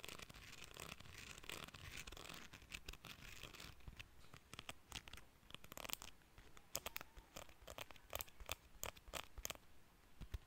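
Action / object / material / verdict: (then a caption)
flick / plastic hair comb / plastic / none. Fingers and nails flick and scratch along the fine teeth of a small, solid cream plastic hair comb held in the hands. A dense, scratchy rasp fills the first few seconds, then gives way to a quick series of sharp, bright clicks and flicks. Each one snaps off almost instantly against a soft, quiet background.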